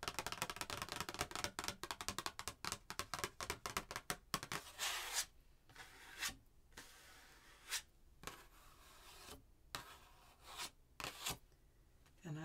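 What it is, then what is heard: Cardstock greeting card being scratched. Long painted nails scratch and rub across the surface of a printed cardstock Christmas greeting card with a red truck picture, held in one hand. A quick run of dense, bright scratching taps fills the first few seconds, then gives way to slower, separate rubbing strokes with quiet gaps between them. The sound is dry and papery with little low end and almost no ring.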